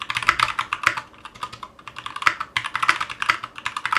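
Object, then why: Mechanical keyboard with plastic keycaps in a metal case. A 60% Clueboard mechanical keyboard in a metal case, with Zealios V2 62g switches and GMK ABS plastic keycaps, rests on a cutting mat and is typed on continuously with the fingertips of both hands. About 29 short, sharp clacks come in quick, uneven bursts, each a bright, dry click centred around 1.3 kHz with very little low end. Each click dies away almost instantly.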